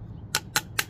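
Three light, sharp knocks on a thin-walled replacement alloy engine mount bushing for a Caterpillar 306E mini excavator, each a brief, bright click with almost no ring or low end. The bushing sounds hollow and plasticky, lightweight compared with the thick, heavy original, with only a lip and a thin alloy layer.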